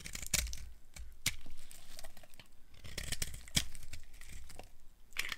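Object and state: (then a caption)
Dry soap bar being shaved. A solid tan bar of dry soap is held in the hand while its edges are shaved with a small blade, producing crunchy flakes. Crisp, dry scraping and crunching strokes with bright, sharp transients come in irregular bursts over a soft low rumble.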